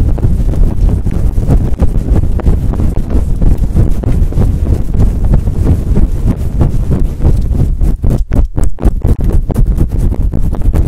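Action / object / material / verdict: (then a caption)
scrape / faux fur microphone windscreen scratched with long nails / faux fur / none. Long acrylic nails rub and scratch fast across a fluffy faux fur windscreen on a microphone. The result is a loud, continuous, muffled rumbling scrape with almost all its energy deep in the low end around 70 Hz and no bright content, broken by a few brief dips near the eight-second mark.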